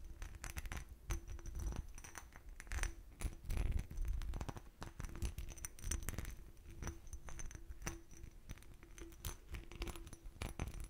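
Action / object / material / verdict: scrape / textured glass bottle / glass / none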